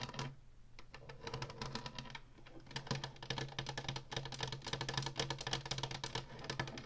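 Long fingernails rapidly tap the ribbed top and plastic buttons of a small Atari Flashback 2 game console with a hollow plastic housing and a faux wood-grain panel. The result is a dense stream of quick, bright, hollow plastic clicks with a short ring, over a steady low hum.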